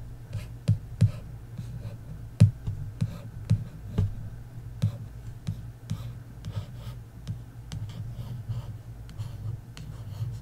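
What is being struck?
Paperback book with embossed card cover.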